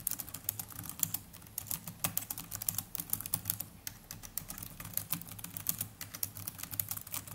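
Fingertips of both hands type continuously on the black plastic chiclet keys of a small black netbook. The rapid key taps are short, bright clicks with no ring, layered over a steady low hum.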